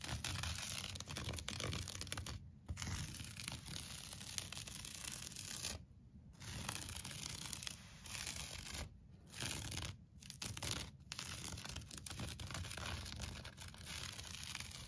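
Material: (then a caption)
Wool. A thin, flat-woven red and blue wool kilim rug lies on the floor and is scratched and rubbed with the fingertips and short nails. The result is a continuous dry, rasping scratch with a bright hiss and a soft low rumble. It breaks off into brief pauses near 2.5, 6, 9, 10 and 11 seconds.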